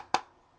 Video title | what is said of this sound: My Man box Part 1 review | it's made of like an extremely tough plastic on the outside, but if you tap it, you can actually hear that it is a wooden box